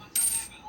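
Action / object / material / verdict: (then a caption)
tap / gold-plated stainless steel ring / stainless steel / solid. A gold electroplated stainless steel stamp ring is tapped once, giving a bright, clinking coin-like ring with a high pitched tone that fades within about a third of a second. It sounds solid, with a distinctly higher pitch than a brass coin ring.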